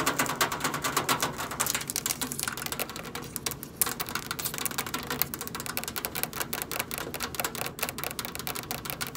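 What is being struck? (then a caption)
Stainless steel microwave panel. Long acrylic nails tap the side panel of a hollow stainless steel microwave, then rapidly tap along the front control panel edge beside the keypad sticker. The result is a fast, uneven stream of crisp, bright clicks with very short decay and little low end.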